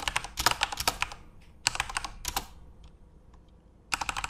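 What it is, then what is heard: Plastic mechanical keyboard. Both hands type rapidly with their fingertips on a Corsair mechanical computer keyboard with plastic keycaps and RGB backlight, resting on a desk. Bursts of bright, sharp clacks are heard, with short pauses between them. Each keystroke is crisp and dies away almost instantly.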